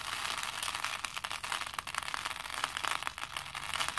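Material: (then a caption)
Plastic. Both hands grab and drop handfuls of small plastic faux pearl beads over a plastic bowl. The beads make a steady, dense clatter of quick, dry clicks and rattles, bright and crisp, with almost no low end and no ring after each tick.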